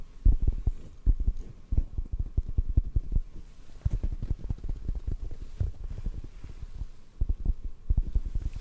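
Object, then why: Foam microphone windscreen. Fingertips tap rapidly on a black foam microphone windscreen held in the hands. The result is a dense run of soft, muffled low thumps with almost no bright content, each tap dying away almost instantly, with louder bursts near the start and end.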